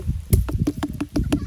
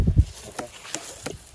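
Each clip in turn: First: unripe watermelon. Second: ripe watermelon.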